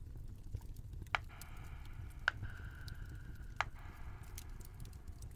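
Fingertips press and tap the bubbles of a round, flat, multicolored silicone pop-it fidget toy with rows of hollow bubbles, held in both hands. Three sharp, short pops stand out above a soft patter, with a steady mid-pitched squeaky tone sounding between them. A constant low rumbling noise runs underneath throughout.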